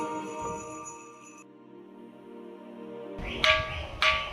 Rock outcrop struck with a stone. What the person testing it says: या दगडाचा आवाज एखाद्या लोखंड सारखा येतो किंवा एखाद्या घंट्यासारखा आवाज